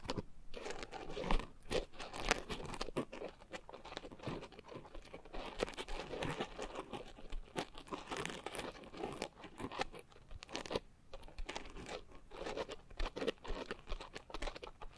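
A pink coarse foam scrub sponge is held in both hands around microphones while fingers and nails squeeze and rub its sides. This makes a steady stream of close, crunchy crinkling and scratchy rubbing with frequent sharper bursts, over a soft low rumble.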